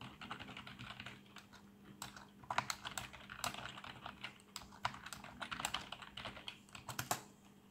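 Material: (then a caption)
Plastic. Fingertips type on a black plastic membrane keyboard with RGB backlight, producing a steady run of soft, irregular key taps. Each tap is short and dull with little ring, with a few louder strokes standing out over a faint, constant low hum.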